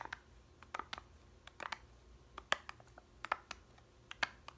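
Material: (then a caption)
Plastic, foil. Long red nails tap the blue foil lid of a small plastic yogurt cup, full and sealed. About 15 quick, dry clicks land at an uneven pace, each short with almost no ring and a thin bright edge over a faint low hum.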